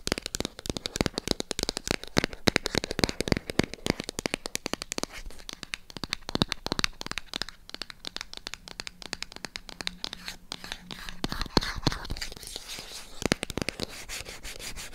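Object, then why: Small printed cardboard box. Long acrylic nails tap and scratch a small, hollow, white printed cardboard MyGel product box. The result is a dense run of quick, sharp clicks and dry scratchy rasps that stop almost instantly, with a bright papery edge and a faint hollow knock.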